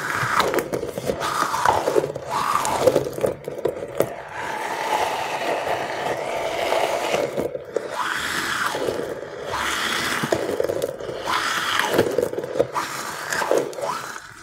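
A palm-sized squishy stress ball with a clear, stretchy rubber skin, filled with small colored beads, is squeezed continuously by the fingers of one hand. The squeezing gives a steady stream of crunchy, crackling scrapes and rubbery squeaks, with tones that rise and fall around the midrange and little low end.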